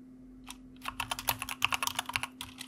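A white mechanical computer keyboard with plastic keycaps is typed on with the fingertips of both hands. The result is a quick run of bright, sharp clicks that are dry and short-ringing, over a faint steady low hum.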